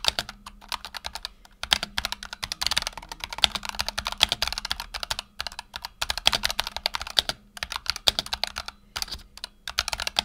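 A black tenkeyless Razer Huntsman Tournament Edition mechanical keyboard with PBT plastic keycaps and optical switches sits on a desk mat while the fingertips of both hands type rapidly. The result is a dense run of short, bright clicky key taps with almost no ring. A faint steady low hum sits underneath, and there are brief pauses between bursts.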